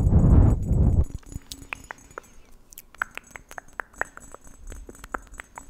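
A hand-sized, green marbled glass or glazed Christmas tree ornament, tree or cone shaped with a red glass bow on top and apparently hollow, is held close to the mic. A loud, low rumbling whoosh lasts about the first second, then fingertips and nails tap the ornament in a quick, uneven run of short, bright clicks and pings that die away fast.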